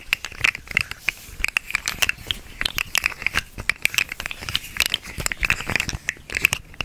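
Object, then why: Segmented plastic fidget toy. A small hollow, segmented orange-and-green plastic slug fidget toy is held in both hands, its segments bent and twisted and scratched with long nails. A dense, irregular stream of sharp, dry clicks, rattles and crinkly scratching sits mostly in the bright upper range, with a recurring tone near 2.6 kHz. Each click stops almost instantly, with no ring.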